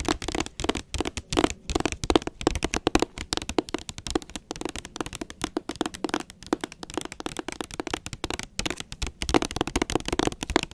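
Long nails tap and scratch the front cover of a blue hardcover book with a glossy jacket, held upright. A fast, continuous stream of sharp, dry clicks and scratches runs throughout, each hit dying away almost instantly.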